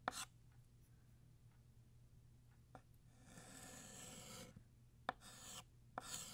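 Blue chalk draws the vertical and lower lines of a banner shape on a flat black chalkboard. Scratchy, bright strokes rasp across the board with quiet pauses between them, and four sharp taps mark where the chalk meets the surface.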